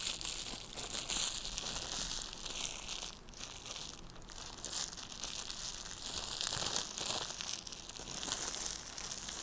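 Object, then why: Thin clear plastic wrapper. A small clear crinkly plastic wrapper is crumpled and squeezed between fingertips with long nails. Continuous bright, hissing crinkles and crackles, with energy concentrated high, swell and ease in soft waves over about nine and a half seconds.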